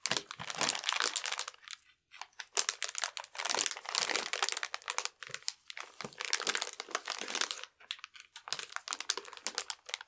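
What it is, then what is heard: Plastic-wrapped cardboard box being handled. A full cardboard ration box wrapped in clear plastic film is held in both hands, turned over and rubbed with the fingertips. The film gives off bright, dense crinkling in bursts separated by brief quiet pauses, with almost no low end.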